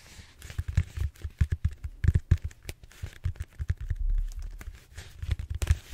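Fingertips and short nails scratch the textured surface of a large, solid purple styrofoam foam roller held upright. The result is a rapid, irregular series of dry, crinkly scratches and soft taps with a dull, low body, each cutting off almost instantly.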